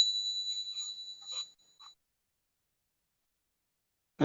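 A Mexican five peso silver coin, a slightly larger piece, is pinged once and gives a clear, high ring that sustains for almost two seconds before fading, followed by a brief low thump at the end. Its ping, weight and appearance confirm it as a genuine 90% silver coin.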